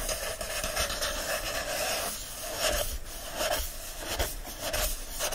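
Fingertips and nails rub and scratch the bright green patterned paper endpapers of an open hardcover book. The result is a steady, dry, raspy scraping with a bright papery hiss, rising and falling in irregular strokes without any tapping.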